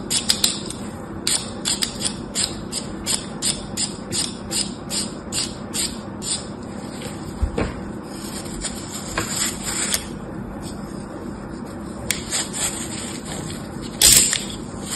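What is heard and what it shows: An orange utility knife blade cuts and scrapes in rapid strokes along the cube rows of a small block of dry green floral foam, scored into a grid and held in the hand. Each stroke gives a bright, crisp scratchy crunch, evenly paced at first and then more scattered. A louder, harsher scrape comes near the end.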